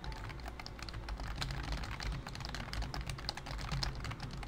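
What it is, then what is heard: Plastic computer keyboard typing. A full-size pink plastic BT21 COOKY keyboard with round white typewriter-style keycaps, resting on a wooden desk, is typed on continuously with the fingertips of both hands. Its hollow key switches give a rapid stream of short, bright clicks and clacks over a steady low hum.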